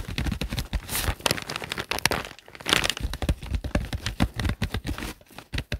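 Fingertips tap and scratch across the glossy green plastic cover of a thick notebook, a solid stack of paper resting on a desk mat. The result is a rapid, dense run of dull, low thuds mixed with crinkly, bright scraping, each sound dying away almost instantly.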